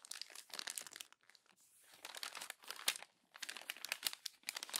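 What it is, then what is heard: Glossy magazine paper being crumpled. Fingers with long nails crumple a page of an open glossy paper magazine along the spine and then rub it smooth and flat. Bright, dry crinkling and crackling comes in dense bursts, broken by brief quieter stretches of soft rubbing.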